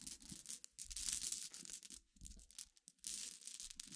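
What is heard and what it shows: Fingernails tap, pick at and stir a dense pile of glass gems resting on black fabric. The result is a bright, crisp clicking and rattling in dense bursts, separated by brief pauses.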